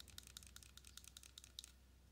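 Long matte dark nails tap and scratch a small, hollow, pink-tinted plastic pump bottle of NYX Marshmellow primer and its cap while it is held up. About eleven quick, dry, bright clicks ring out, each dying away almost instantly. A low steady hum sits underneath.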